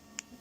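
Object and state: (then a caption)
Soft, uncured acetone-treated 3D printed plastic part. A freshly acetone-vapor-treated 3D printed plastic bottom rack, still soft and rubbery because it has not yet hardened, is tapped once with something. It gives a single short, dull tap with almost no ring, instead of the bell-like ring it will have once cured.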